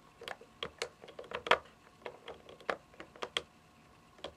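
Long fingernails tap on the top and front of a hollow, white plastic game console casing, roughly console-sized, lying on carpet. The result is an uneven series of light, sharp clicks with a hollow plastic tone and almost no ring between taps.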